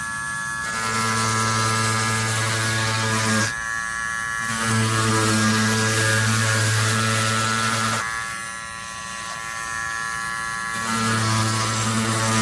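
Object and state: Nothing is struck.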